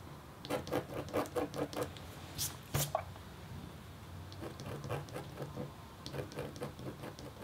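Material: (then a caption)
Copper foil. The metal tip of a red stylus makes rapid, short scratches across a thin, solid, flat copper-foil scratch art board with a black coating. Quick bursts of dry, papery scratching with a midrange tone come in clusters, broken by a couple of brighter, sharper strokes near the middle. A faint low hum runs underneath, and the scratching then picks back up in softer runs.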